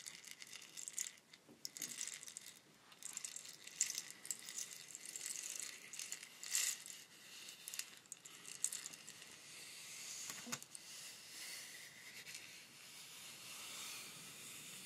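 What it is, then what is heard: Bamboo rainstick. A long hollow bamboo rainstick is tilted, giving a gentle, bright hiss of its fill trickling through, then its surface is scratched with long nails. The sound is quiet and almost entirely high-pitched, with many small rattling clicks and scratches over a steady sandy hiss.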